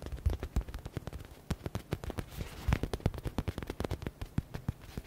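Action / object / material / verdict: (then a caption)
tap / foam-filled faux leather stress ball / faux leather / none. Fingertips and nails tap fast on a hand-sized yellow stitched smiley-face stress ball: soft and foam-filled, with a faux leather (synthetic leather) cover. The result is a quick, irregular stream of short, dry, low thumps with soft clicky edges and almost no ring.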